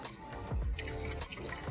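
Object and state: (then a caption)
Liquid cooler with air in the loop. A cheaper all-in-one liquid CPU cooler with a flexible sleeved hose is shaken, and liquid audibly sloshes and gurgles inside it. The sloshing shows there is more air in the loop than there should be, possibly because it was never filled to the top.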